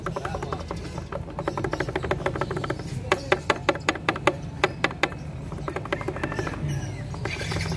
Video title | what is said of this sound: hondac click isue | So yan ang tunog nya, guys, pag may issue yung inyong gearings